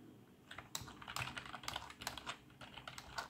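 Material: Plastic.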